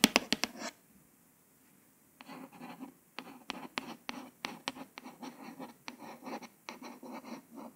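A long nail tip scratches and traces the small print near the edge of a flat, solid, glossy hardcover paper book cover. A burst of quick, sharp scratches opens the clip, followed by a brief silence. Then comes a steady run of short, bright, dry scratching strokes with no ring.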